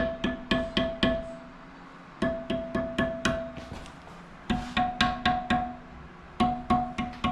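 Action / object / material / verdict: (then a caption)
tap / steel motorcycle wheel spokes / steel / tight. Steel dirt bike wheel spokes are tapped one after another around the rim, giving 18 short, bright metallic dings in four quick bursts, each with a clear ring near 730 Hz that fades fast. The spokes sound alike, showing they are tight and evenly tensioned.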